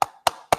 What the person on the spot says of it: that's a hardcover I don't know if you can hear that it sounds tinny